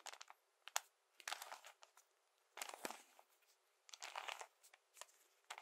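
A hand-sized puzzle cube covered in colored plastic Lego bricks is held in both hands, tapped and scratched with fingertips and nails, and twisted now and then. Quiet, bright, crisp clicks and scratchy rustling bursts come in short clusters with brief silences between them. There is no low end, and each sound stops almost at once.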